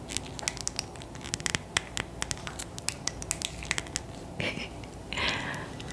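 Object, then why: Glass bottle filled with liquid. Long nails tap a tall glass bottle filled with purple liquid, making a quick, irregular run of sharp, bright clicks. Each click stops almost instantly. Two brief scratchy swells near the end rise over a faint, steady hiss.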